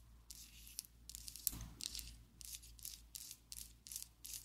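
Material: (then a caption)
Plastic. Long acrylic nails tap and scratch a slim pink and black plastic Essence liquid lipstick tube held above a table. Quiet, irregular bursts of bright, hissy scratching mix with sharp little clicks that stop dead, over a faint low hum.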